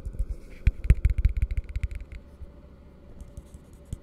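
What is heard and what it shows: Fingertips of both hands tap an empty, hollow blue plastic tumbler held upside down. About fourteen quick, dull, hollow taps with faint clicks come in a rapid run over the first two seconds, then there is near silence and one last tap. Each tap is low and muffled and dies away instantly, with no ring.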